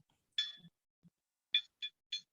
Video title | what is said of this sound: This metal 3D printer is under $10,000 and safe for your shop - Iro3D | you can hear that it rings